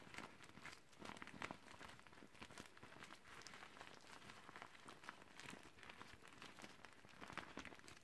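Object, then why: Deflated vinyl beach ball. Gloved hands crinkle a deflated, clear teal vinyl beach ball and roll it up tightly toward the valve. A steady stream of soft, dense crinkling and crackling runs throughout, with brighter plastic crackles rising now and then.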